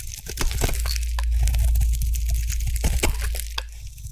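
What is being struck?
Bar of soap cut with a metal blade.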